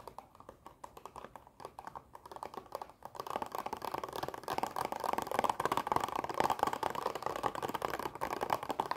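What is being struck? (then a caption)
Plastic blister pack of toy erasers. A long plastic blister pack of dinosaur erasers is tapped fast with long nails and tilted. Soft, scattered clicks during the first three seconds give way to a louder, dense stream of rapid, dry plastic taps with a midrange clatter near 840 Hz and very short decay.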